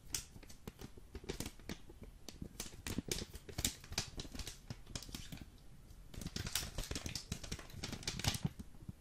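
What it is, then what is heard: Full vacuum-packed coffee brick. Fingertips rapidly tap the end and sides of a full Jacobs coffee vacuum brick in green foil as it is turned in the hands. Each tap is short and crisp, with a dull low thump from the packed brick and a bright, crinkly click from the foil. The taps come in quick, uneven bursts throughout.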